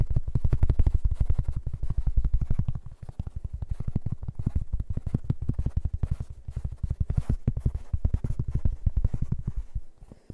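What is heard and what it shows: A large, round, flat, thin, solid cork board is held in the hands and scratched and tapped with fingertips and nails. It makes a fast, uneven stream of dull, deep thuds with almost no ring, plus faint scratching on top. The tapping eases briefly around the three-second mark, picks up again, and thins out at the very end.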